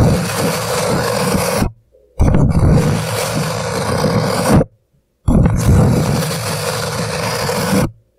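Hands grip an empty, upside-down hollow paper coffee cup, slowly rubbing and scratching its paper sides with their fingertips. Three long, steady passes of dense, papery scraping are heard, with a heavy low rumble under the texture, each ending in a short silence.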